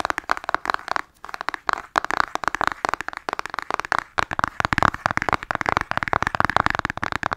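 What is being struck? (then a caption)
Cardboard makeup palette. Long nails tap fast on a flat, hollow cardboard eyeshadow palette held in both hands. The result is a dense stream of sharp, dry clicks centered in the midrange around 1 kHz, with little low end and almost no ring. The tapping pauses briefly about a second in and again around four seconds.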